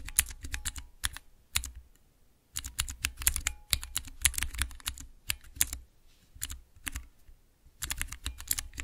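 Fingertips and nails press three tall, translucent clear plastic keycaps on a mechanical keypad with Cherry MX switches. Rapid bursts of sharp, bright clacks with a low thump under each come in quick runs, separated by brief pauses. Each click dies away almost instantly.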